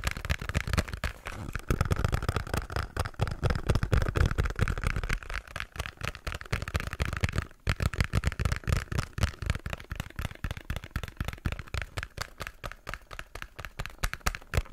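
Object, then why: Small cardboard box. Fingertips and nails tap and scratch the surfaces of a small, hollow pink cardboard box. The result is a dense, irregular stream of quick, dull, low-heavy thumps with light scratchy texture and very short decay, broken by a brief pause around the middle.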